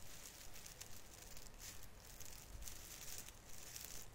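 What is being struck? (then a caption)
Plastic artificial Christmas tree branches. Fingertips rub and pinch the plastic needles on the branches of a small artificial fir Christmas tree, making a soft, steady crinkling and rustling. Bright, scratchy bursts come and go in a loose rhythm over a low, quiet rumble.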